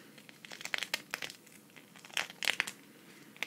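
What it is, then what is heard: Sequin fabric patch scratched. Long red fingernails scratch across a flat green sequin cactus patch, about hand-sized, thin and solid, held up in one hand. Quick bursts of dry, crinkly clicking and rasping come in uneven clusters, bright and centered around 2 kHz with no low end. Each scrape cuts off almost instantly into a soft, hissy background.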